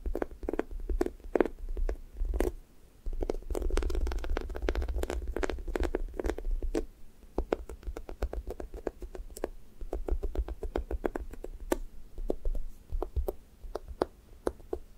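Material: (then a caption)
Foam. Fingertips and nails poke and peel off the orange side of a sticky foam squishy toast toy, a soft, solid foam with a sticky skin. Dense soft taps and quick sticky peeling clicks follow each other rapidly over a low, muffled rumble, each sound short and dry with almost no ring.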